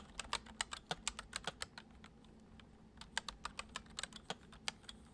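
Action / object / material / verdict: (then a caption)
tap / plastic computer keyboard / plastic / none. Fingertips of both hands tap quickly on the hollow keys of a full-size white plastic computer keyboard resting on a wooden desk. Sharp, bright, very short clicks come in rapid bursts, with a brief lull in the middle, over a faint low steady hum.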